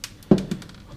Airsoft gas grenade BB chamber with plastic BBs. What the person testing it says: if you shake like this you hear it's full